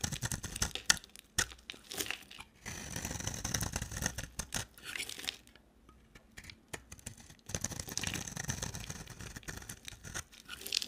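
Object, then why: Bar of soap. A solid, dry orange bar of soap is held in the hand and scraped and carved with a box cutter blade, shaving flakes off the bar. Dry, crisp scraping and crunchy crackling strokes come in bursts, bright and papery, with a quiet pause near the middle before the carving resumes.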